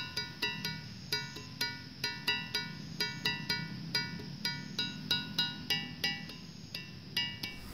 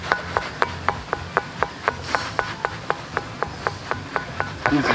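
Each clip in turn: First: A run of struck notes ring clear and bright, a dry andesite stone sounding like a musical instrument. Second: Steady, quick strikes on a stone give clear pitched notes near 950 Hz, but each one dies away fast.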